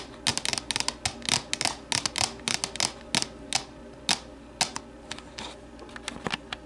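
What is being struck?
Plastic deli container tapped with fingernails.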